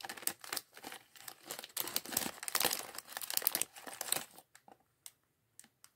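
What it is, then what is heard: Plastic bag of LEGO bricks. A small clear polyethylene bag of loose plastic LEGO bricks from the Chevrolet Corvette C8.R Race Car set 76903 is held in both hands while fingertips pick through the bricks and crinkle the bag. Dense, bright crinkling and light clicking rustle continuously for about four seconds, then thin out into a few short, sparse crackles with quiet gaps until the end.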